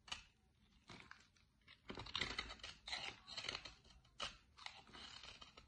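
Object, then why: Bar of soap cut with a blade. A utility-knife blade digs into a solid light green bar of soap and shaves pieces out of it. The result is a run of bright, crisp scraping and crackling cuts, with several louder shaving strokes toward the middle and brief quiet gaps between them.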